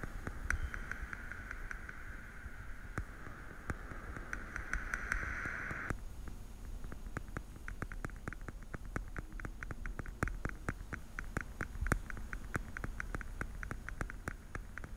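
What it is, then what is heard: Plastic pill organizer. Fingertips and nails tap the lids of a small, hollow, translucent blue plastic weekly pill case held sideways beside the microphone. Quiet, short, dry clicks come irregularly at first over a steady mid-range hum, which stops about six seconds in. The tapping then turns into a denser, faster patter over a soft low rumble.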